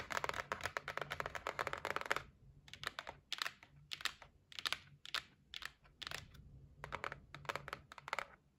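Long nails tap on the lid and side edges of a closed white cardboard gift box. A fast, dense run of tapping fills the first two seconds, then continues in slower, separate bursts. The taps are short, dry and bright, with no ring after each one.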